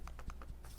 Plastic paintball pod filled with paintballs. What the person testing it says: significantly reduced the sound of the shaking in there